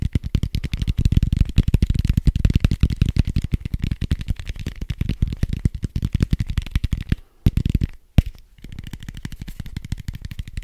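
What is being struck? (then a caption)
Large foam die. A large red foam die with white dots, made of soft foam, is held close to the mic and scratched and tapped rapidly with fingertips and nails. The result is a dense stream of fast, dull, low thuds and scratchy rustles with very short decay. The sound pauses briefly near the end before resuming.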